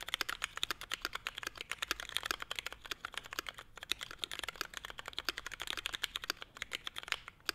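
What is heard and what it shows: A Forever 65 mechanical keyboard, a small, hollow-cased 65% board with a navy case, Hyperglide MX Brown switches, a CF plate and grey/white ABS keycaps, is typed on continuously with the fingertips of both hands. The result is a steady, rapid stream of short, crisp, bright plastic clacks with almost no low end and no ring between strokes.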